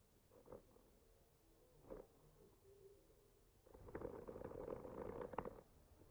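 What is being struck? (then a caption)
Painted wooden panel. A bamboo skewer tip traces and scratches across a solid wood panel painted with trees. Two soft, brief scrapes are followed by a longer, steady stretch of dry, gritty scratching. The sound is quiet and mid-pitched, with little low rumble or bright hiss.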